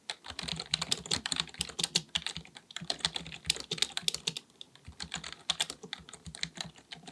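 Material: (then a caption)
Plastic. Fingertips of both hands type rapidly on a black full-size plastic computer keyboard resting on a desk. Dense, bright clicky key taps come in quick bursts, each dying away almost instantly with only a faint low thump beneath. There is a brief lull near the middle before the typing resumes.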